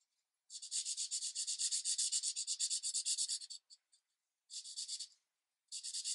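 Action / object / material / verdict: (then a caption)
scrape / marker tip on thin paper / paper / none. A green marker tip is rubbed in quick back-and-forth strokes along the edge of a tree on a thin paper coloring page resting on a light pad. It makes a soft, bright, scratchy hiss with no low end. A long three-second run of rapid strokes gives way to a couple of faint flicks, then two shorter bursts of scribbling.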